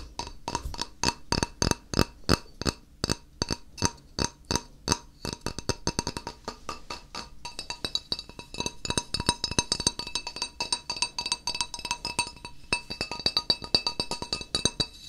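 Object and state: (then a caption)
Ceramic tile. A single thin, flat, solid white ceramic tile, roughly 20-30 cm across, is held in both hands above a wooden table and tapped with the fingertips while being turned between vertical and angled positions. Other tiles lie untouched on the table. It gives bright, dry clinks with almost no ring, slow and evenly spaced at first, then breaking into quicker, denser rhythmic tapping that continues to the end.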